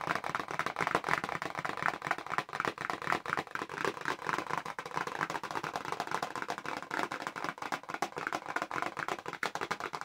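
A small, hollow pink paperboard press-on nail box is held upright in both hands while long nails tap rapidly across its back panel. The result is a dense, continuous stream of dry, clicky taps with a papery midrange tone, almost no low end, and very short decay.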